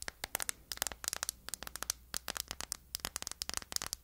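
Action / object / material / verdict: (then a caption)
tap / hard plastic phone case with metal corner guards / hard plastic / none. Long acrylic nails tap and scratch the back of a phone held in the hands, inside a thin, flat, hard plastic dreamcatcher-print case with metal-look corner bumpers and studs. Quick, crisp clicks with bright, hissy scratches come in rapid, irregular bursts, each dying away almost instantly.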